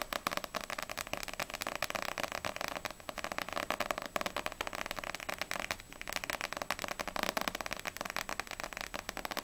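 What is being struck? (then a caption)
Paperback book with glossy paper cover. Long nails tap quickly on the glossy paper front cover of a small, solid paperback manga, *Ousama Game Extreme* volume 1, held upright. A steady, dense stream of short, crisp, bright clicks plays throughout, with a mid-range body and almost no low end. Each tap dies away instantly.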